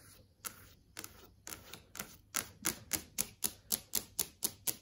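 Long acrylic nails tap rapidly on a large flat LCD TV screen showing video thumbnails. Each tap is a sharp, bright click with a crisp high edge, very little low end, and almost no ring. The taps come unevenly at first, then grow louder and steadier through the second half.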